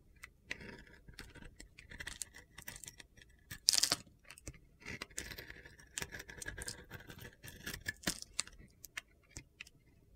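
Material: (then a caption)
Soap. A metal utility knife blade slices and scrapes the coated surface off a palm-sized, hand-held bar of soap with a solid purple and blue glitter coating and a white inside. The result is a quiet series of short, gritty, crunchy scrapes, mostly bright and high-pitched with little low end. One louder, brighter scrape stands out near the middle.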